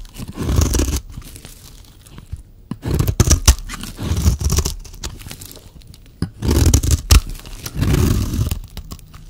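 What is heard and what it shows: A solid green bar of dry soap, held in the hand, is scraped and shaved into thin curls with a metal utility-knife blade. Rough, crunchy scraping strokes come in separate bursts with quiet gaps between them, and sharp clicks stand out here and there. The sound is heavy in the low end, with a faint bright hiss on top.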